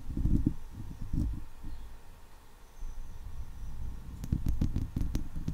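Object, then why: Steel wire-mesh microphone grille. Long leopard-print nails scratch across a hollow steel wire-mesh microphone head while fingers rub its side. The result is close, deep, boomy scraping and thumping, with bursts at the start, a quieter low rubbing stretch in the middle, and a cluster of sharper scratches near the end.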